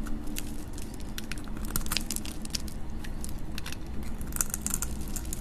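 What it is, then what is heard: Dry soap bar scraped with a blade. A hand with long nails holds a solid, dry, hand-sized green soap bar while a metal utility knife blade scrapes and cuts into it, breaking flakes off. Rapid, bright, crisp crackles and scratchy ticks repeat over a steady low hum that runs under the whole clip.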